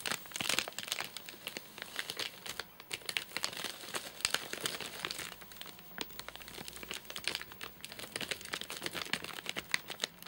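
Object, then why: Nougat bar in a plastic wrapper. Fingertips tap rapidly on the top of a full, flat rectangular nougat bar in a crinkly plastic wrapper. Dense, bright crinkling and crackling clicks run throughout, with almost no low end. Each tap stops dead with no ring.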